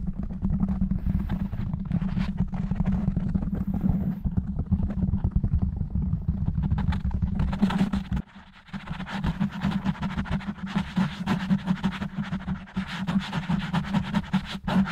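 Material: Foam.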